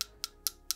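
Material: Reinforced plastic.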